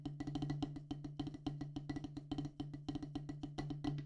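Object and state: Rubber drum practice pad on wooden base.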